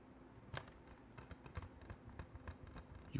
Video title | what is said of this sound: [Furry-ASMR] Why am I not a "cutesy" furry? (rambly, Lo-Fi) | In fact, if I shake it, you can hear the DVD in there.